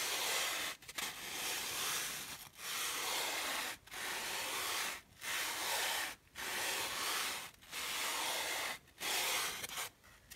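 Long dark-painted fingernails scratch and rub a solid, hand-sized white polystyrene foam packing slab while a second matching foam piece lies still beside it. About eight long, dry, bright, hissy scraping strokes are heard, each separated by a brief pause, with almost no low end.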